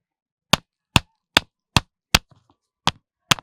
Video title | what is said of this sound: Lalluram Janmashtami Special : पत्थरों से आती है घंटी की आवाज - ujjain - Krishna | इसमें साधारण सी आवाज आ रही है